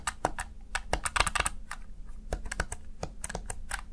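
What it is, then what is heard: Plastic gaming keypad. Fingertips with short nails press and tap the keys of a small black plastic backlit Razer Tartarus Chroma gaming keypad. The result is a quick, irregular run of short, crisp plastic clicks with bright upper edges, over a steady low hum.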